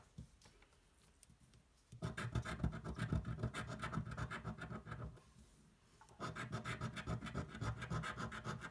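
A coin's edge scratches a thin, flat cardboard scratch-off lottery ticket lying on a table, producing a rapid, rough rasping scrape. After a quiet start, the scratching runs for about three seconds, stops briefly while the coin is lifted, then resumes for the last few seconds.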